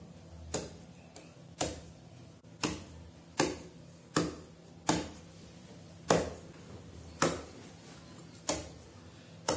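A large, whole local Wonosobo durian with a hard, spiky green-yellow husk sits on a mat on the floor, held steady with one hand while it is struck repeatedly with a large knife or machete, likely to start opening it. Around ten sharp, dull knocks ring out at fairly even intervals, each a short, bright thud that fades quickly over a low background hum.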